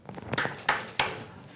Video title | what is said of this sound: On improvise des conférences Ted X avec Swann et Simon : c’est terrifiant mais si drôle | ça sonne pas porteur pourquoi parce que c'est creux exactement ça sonne creux